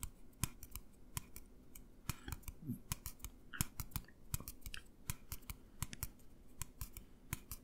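A tall, hollow, empty white plastic tumbler is held upright and tapped and scratched with fingertips and nails. More than thirty sharp, dry clicks arrive in an uneven quick rhythm, each with a bright high tick over a soft, low hollow thump. The taps die away almost instantly, and a brief scratch comes in among them.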